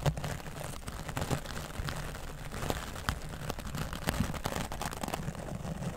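A grey foam microphone windscreen is brushed with a wooden bristle dry brush, first along the side and then over the top. The result is a steady, low, muffled rumbling scrape broken by short, sharp crackling strokes, with little high-end brightness.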